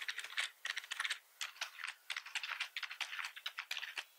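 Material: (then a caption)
Plastic. Fingertips of both hands type on a full-size black plastic membrane computer keyboard with red keys, its hollow plastic housing resting on a wooden desk. Quick, bright clacky keystrokes come in uneven bursts with brief pauses, each tap short and dry with almost no low end.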